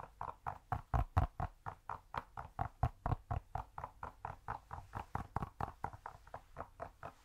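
Fingers tap rapidly and steadily on a cork cube, producing about 33 short, soft, dull knocks over seven seconds. Each tap is low and muted with almost no ring, fading out right away.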